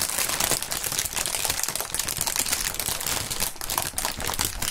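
Clear polyethylene air-pillow packaging film is crinkled and squeezed between the fingers. A dense, continuous, bright crackling rustle fills the clip, with quick sharp crinkles overlapping throughout and little low-end weight.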